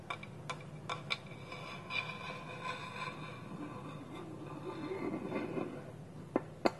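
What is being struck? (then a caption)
Small wooden bowl with wooden lid. Fingertips and nails tap and scratch on a small, hollow, polished wooden bowl that sits empty on a table with its wooden lid held tilted on top. Sharp, dry knocks with almost no ring are scattered through the clip, and a soft, continuous scratching rasp fills the middle. The whole clip stays quiet and close.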